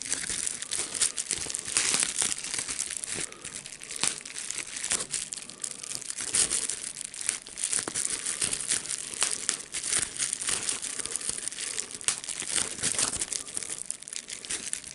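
A clear plastic bubble wrap sheet with air bubbles, held up in the hand, is crinkled and squeezed by the fingers. The result is a steady, bright crinkling and crackling with many sharp snaps that continues without a break, with almost no low end.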